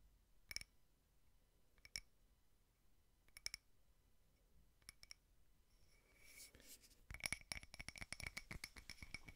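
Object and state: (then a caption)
Frosted glass candle holder. Fingernails tap a small frosted glass votive candle holder with cake prints, starting with slow, widely spaced clicks that each carry a short, bright glassy ping. After a brief scratchy brushing, the tapping turns fast and dense, with rapid clinks that ring high and die away almost at once.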